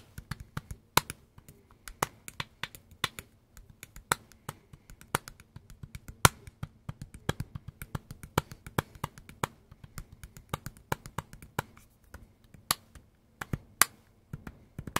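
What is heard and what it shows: Fingertips and nails tap a hand-sized, dark green and black Makita power tool battery pack with a plastic housing, held in both hands. About thirty short, dry clicks and taps come in a loose, uneven rhythm, each dying away almost at once over a faint low hum.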